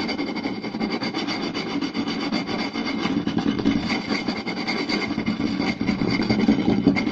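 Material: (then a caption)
Wood. Fingertips and short nails rapidly tap and scratch the surface of a round, solid wooden plate with a raised rim lying flat. The result is a continuous, dense rasping and tapping texture with a woody mid-low body and a bright scratchy edge, staying at a fairly steady level throughout.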